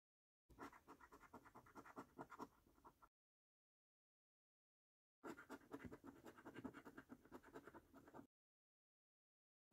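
The edge of a coin scratches the latex coating off a flat, thin cardboard £15 "Luxury Lines" National Lottery scratch card lying on a dark table, held flat by one hand. Quiet, dry, rasping scrapes come in rapid, slightly uneven short strokes, grouped into two bursts of about three seconds each with silence between. A third burst begins just as the clip ends.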